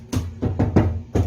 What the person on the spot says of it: 예 . 여기 타일 이 전부 들떴어 요 . 이 표면 .